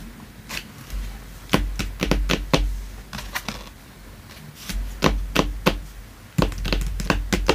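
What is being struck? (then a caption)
Thin printed cardboard sheet. Fingertips rub and slide across a flat, thin printed cardboard floor mat from a Sanrio Hello Kitty House & Store playset, lying on a dark surface. The result is soft, dry scratching and brushing, broken by irregular sharp taps and clicks with a low, dull body and bright edges. The sounds come in uneven bursts, with quieter gaps between them.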